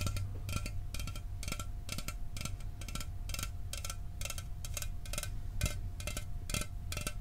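A sealed, hollow 12 oz Mountain Dew aluminum soda can is held in one hand and tapped rapidly with the fingernails of the other. Quick, bright metallic clicks with short rings come in a steady rhythm over a constant low rumble and a faint steady tone.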